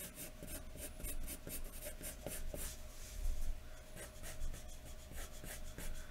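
A wooden graphite pencil, held in the fingertips, scratches and rubs across a large thin white paper sheet lying flat on a wooden desk, making hatching strokes to shade hair. The result is a steady run of soft, dry scratching strokes with a bright hiss on each stroke over a low, quiet rumble.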